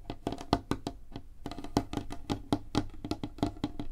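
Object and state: Wooden tabletop.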